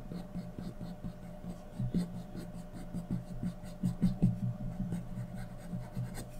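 A graphite pencil held in the fingers is scratched across a thin sheet of white drawing paper lying on a flat surface, shading a portrait. Soft, dry scratching strokes come in an uneven rhythm, each short and quick to fade, with most of the energy low and a faint steady tone underneath throughout.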